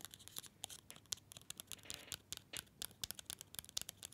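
A small, solid Green & Black's mini chocolate bar in an orange paper wrapper is held upright near the mic and tapped and scratched with fingernails. About 26 quick, dry clicks and papery scratches come through, bright and crisp with almost no low end and no ring after each hit.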